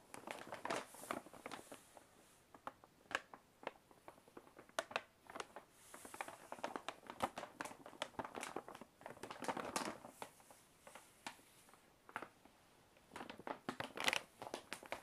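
Fingertips and nails tap and scratch the side of a large, hollow brown kraft paper Maisons du Monde shopping bag held upright. Quiet, bright, papery taps and crinkly scratches come in irregular bursts with short pauses, each tap dying away almost instantly with little low end.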